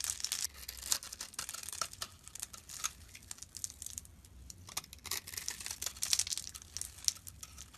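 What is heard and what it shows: A utility knife blade scrapes fine, crumbly shavings off a solid rectangular bar of brown laundry soap held in the hand. Dense, dry, bright scratching and crackling comes in rapid short strokes, with almost no low end. The scraping eases briefly midway before picking up again.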